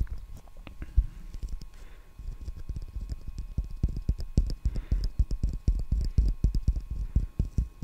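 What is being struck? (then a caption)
Roll of plastic packing tape on a cardboard core. A wide roll of clear plastic packing tape on a cardboard core with a hollow centre is held in the hand and tapped and scratched on its flat side and edge with fingertips and nails. The result is a fast, uneven stream of dull, low thumps with almost no ring, mixed with faint soft scratching.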